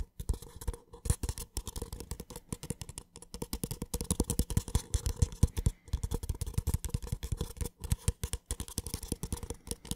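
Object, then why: Paper cup. A small, empty, hollow white paper cup is scratched and tapped on its wall with fingertips, held close to the microphone. Dense, rapid, dry taps and scratches run continuously with only brief pauses. Each has a low, hollow thump and a short papery rustle.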